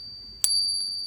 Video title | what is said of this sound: New to Morgans? Buying PM's on Craigslist & Counterfeit Silver Dollars | that still sounds pretty darn close to the the silver one the real one